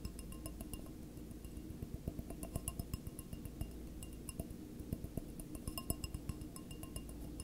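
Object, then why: Glass stemless wine glass. Fingertips and nails tap the hollow body of a single clear, empty stemless wine glass tilted on its side. The quick, uneven taps make light, bright glassy clinks that die away almost at once, over a steady low hum.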